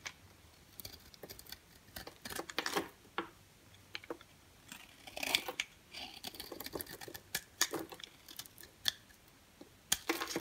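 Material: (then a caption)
Soap. A dry, orange-and-white striped solid bar of soap is held in the hand and shaved with a box cutter blade, dropping orange shavings that pile up below. Crisp, bright scraping and crackling bursts come in quick, uneven runs over quiet pauses.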